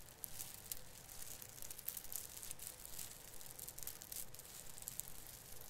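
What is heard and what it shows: Fingers squeeze and rub the plastic needles at a branch tip of an artificial fir Christmas tree, making a quiet, continuous crinkle. Bright, crackly rustling repeats in many short bursts over a low, steady background rumble.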